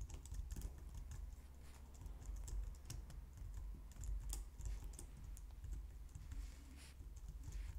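A white low-profile plastic computer keyboard is typed on steadily with long painted nails and fingertips. Quick, light clicky taps with bright edges patter at an even pace over a constant low hum.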